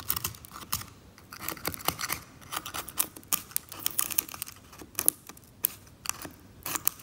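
A metal scalpel scrapes thick brown varnish off the surface of a varnished oil painting lying flat, working in short strokes that loosen flakes while the other hand rests still. The result is a run of dry, bright, crisp scratchy rasps with sharp high clicks and short pauses between strokes.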